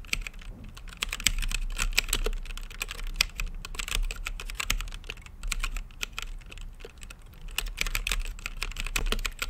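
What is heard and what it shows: Fingertips type continuously on a plastic mechanical keyboard with plastic keycaps set in a translucent acrylic case. The result is a rapid, steady stream of short, bright clacks centered around 3 kHz, each dying away almost instantly. Beneath them sits a constant low hum.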